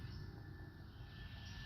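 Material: Nothing is struck.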